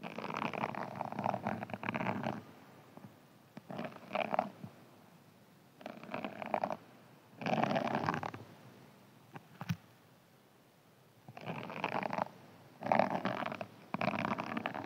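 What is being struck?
Hand-sized foam sponge.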